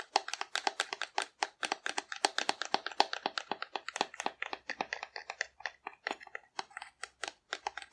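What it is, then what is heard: Hollow cardboard dinosaur. Long nails tap and scratch the belly of a hollow painted cardboard dinosaur held upright. About 52 quick, dry taps come at an uneven pace of roughly four per second, with scratchy rasps between them. Each hit is bright and clicky, dies almost instantly, and has no low end.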